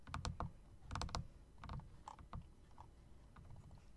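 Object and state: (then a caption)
Typewriter-style mechanical keyboard being typed on. Fingertips and then long dark nails type and click on a plastic and metal typewriter-style mechanical RGB keyboard with round plastic keycaps set in chrome rims. Short, mostly low, thocky keystrokes with a faint bright click land in irregular clusters and die away quickly over a steady low background.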